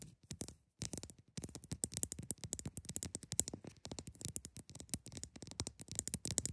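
Long nails scratch the top and sides of a large, solid block of frosty, partly clear ice resting on a fabric surface. Quick, dense scraping strokes come in a steady run with brief pauses, each a short, dry burst with a bright, hissy edge and a soft low thud underneath. The sound stays quiet throughout.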